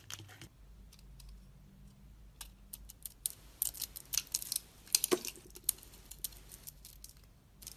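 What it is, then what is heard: Bar of soap being cut. A solid oval bar of soap with a black and pink coating and a white core is held in the hand and scored with a snap-off utility blade, and thick slabs are peeled and broken off. Bright, dry scraping and crisp cracking snaps come in quick irregular bursts, each dying away almost instantly over a faint low hum.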